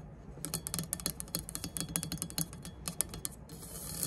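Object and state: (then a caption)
Aluminum speed square, nail scratching and tapping. Long nails scrape across the engraved ridges of a triangular aluminum rafter (speed) square and tap its plate, first with it held upright and then lying flat. Rapid, irregular bright clicks and scratchy rasps with almost no ring give way near the end to a steady high scraping hiss.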